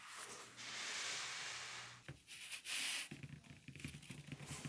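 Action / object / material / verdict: scrape / faux leather briefcase / faux leather / none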